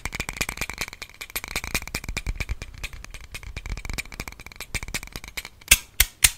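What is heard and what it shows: A small pink plastic box-cutter knife with a hollow handle is held in both hands and tapped and handled with the fingertips. Its blade and slider make a fast, irregular stream of dry, bright clicks and rattles. The clip ends with three louder, sharper clicks.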